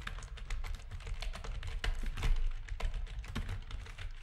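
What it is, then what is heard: Plastic keyboard being typed on. Rapid key presses are typed with the fingertips of both hands on a full-size black plastic backlit RGB gaming keyboard with a hollow housing. The clicks come in a quick, uneven stream, each a short clack with a bright edge over a deep, hollow thud. Every press dies away almost at once.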